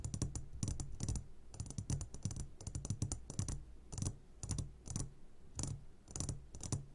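A medium glass jar, upside down and full of sugared gummy candies, is tapped on its sides with the short fingertips of both hands. Quick flurries of soft, clicky taps come in clustered bursts, each with a dull low thump and a bright tick that dies away almost at once.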